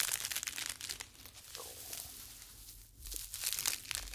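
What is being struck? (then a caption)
Expanded polyethylene foam mesh fruit sleeve. Two small, light, hollow white polyethylene foam mesh fruit net sleeves, held one in each hand close to the ear, are squeezed and rubbed with the fingers. They give a bright, dry crinkling and crackling that eases into a softer, quieter rustle in the middle before building back up to dense crackles at the end.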